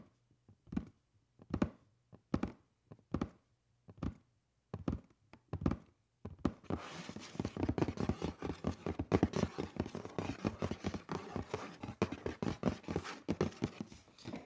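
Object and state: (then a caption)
Cardboard shoe box, hollow. Fingertips knock and tap on the lid of a hollow black cardboard shoe box lying down. A slow series of evenly spaced, dull, low thunks is followed by quick, continuous tapping. Each hit is short with almost no ring.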